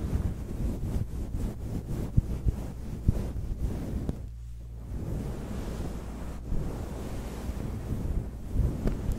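A grey, fluffy synthetic-fur windscreen covering a microphone is rubbed and squeezed with the fingertips and long nails of both hands. This produces a dense, muffled low rumble and fuzzy rustling, almost entirely low in pitch, with occasional soft thumps. The sound briefly drops quieter around the middle before the rubbing picks up again.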